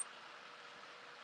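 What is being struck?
Nothing is struck.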